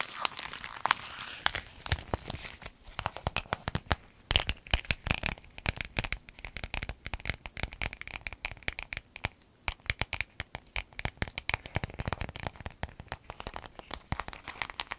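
An empty clear lemon-print vinyl zip pencil bag is bent, crinkled and scratched with long nails. This makes a dense, continuous run of sharp, bright crackles and crinkling snaps with short scratchy bursts, each dying away almost instantly.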